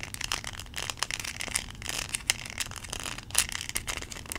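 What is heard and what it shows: Long nails scratch and tap the kernels of a small yellow plastic corn cob toy. Quick bright clicks and crisp scratching come through close and dry, each tap dying away almost at once over a faint low rumble.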